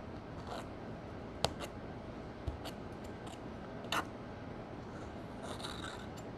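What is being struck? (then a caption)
Pressed powder eyeshadow pan scraped with a metal spatula. A metal spatula, held by a hand with long nails, digs into a green pressed powder eyeshadow pan in a gold palette, crushing it and breaking it into flakes. Quiet, dry scraping and crumbling runs throughout, punctuated by a few sharp, bright ticks and crunches as the powder gives way.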